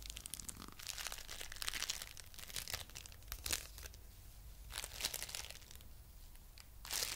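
A coral-pink lump of foam bead clay is pressed and rubbed with fingertips and nails, making bright, crunchy crackling and crinkling in uneven bursts. Louder crunches stand out near the middle and at the end over a faint low rumble.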